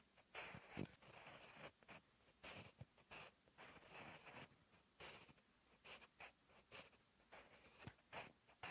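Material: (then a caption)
Paper. A sharpened wooden graphite pencil, held in the fingertips, writes Korean text on a lined paper notebook page. Its tip makes short, dry scratching strokes with bright, hissy texture across the paper. The strokes come in quiet, separate bursts.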